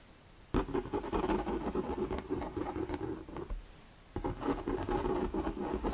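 An empty, hollow, translucent plastic shoe-style storage box is held in the hands while fingertips and nails tap and scratch its sides. Dense, hollow-sounding scratching and tapping with a resonant tone near 390 Hz runs for about three seconds, stops briefly, then resumes. Each tap dies away almost at once.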